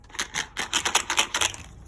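A plastic POSCA paint marker is shaken, and the marble inside that stirs the ink rattles in nine quick, bright clicks against the barrel. Each click is short and dry, with almost no ring.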